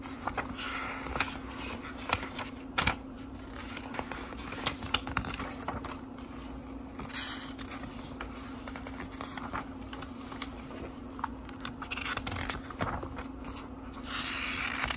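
Fingertips riffle and turn the paper pages of a small book lying open. Soft papery rustles are punctuated by crisp, bright flicks and crackles, over a faint steady low hum.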